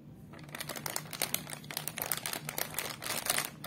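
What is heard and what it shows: Fingertips and nails tap and press a small, sealed, hollow green foil-plastic Crax Fritts chip packet full of snacks on a wooden table. Dense, bright crinkling sounds rise and fall in quick bursts, with sharp clicks heard from the packet.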